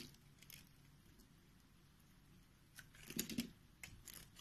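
A solid white bar of soap held in the hand is cut along a pre-scored grid with a box-cutter blade, slicing off chunks. Soft, quiet scraping gives way to a cluster of louder, crisp, bright cutting snaps near the end, each dying away almost instantly.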